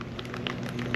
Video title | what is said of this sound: YOU ORDERED WHAT ON TEMU????!! | they've got a tumbler in there, so it's like a little marble. And when you shake it, you can hear slapping around in there